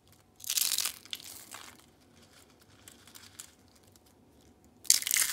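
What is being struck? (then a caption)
Rolled soap curls. Small, brittle, pink rolled dried soap curls are crushed in the hand into flakes. A loud, bright, crispy crunching burst is followed by softer crackling and faint ticks, then another loud crunch at the end.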